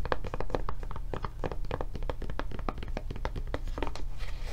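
Long nails scratch and tap quickly on the back and handle of a blue silicone rubber tablet case. The result is a dense run of soft, dull taps and scratches over a constant low hum, with little high-end brightness.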